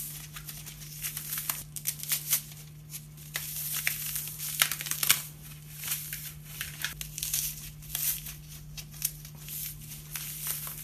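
A hand-sized, solid, porous triangular wedge of dry green floral foam (phenolic foam) is squeezed and crushed with fingertips and thumb over a red plastic bowl, and pieces crumble into the bowl. Dense, bright, crisp crackling and crunching comes in irregular bursts, with a steady low hum underneath.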